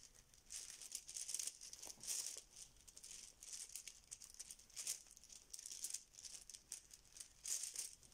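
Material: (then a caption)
Plastic. A yellow fabric Bananagrams pouch full of plastic tiles is held in both hands and squeezed and shaken, making the tiles clack inside. Quiet bursts of bright, high rattling and clicking come and go with almost no low end.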